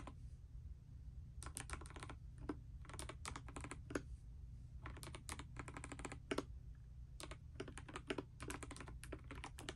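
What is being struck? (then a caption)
Mechanical keyboard, plastic keycaps. Fingertips and long nails type continuously on a pastel mechanical keyboard with plastic keycaps resting on a bedspread. Bursts of quick, bright clicks and clacks come in clusters separated by short pauses, over a steady low hum.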